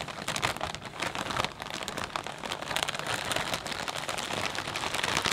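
Fingertips press and squeeze a clear plastic bag full of potato chips, making it crinkle. A dense, continuous run of sharp, bright crackles fills the clip with almost no low end, swelling slightly louder toward the end.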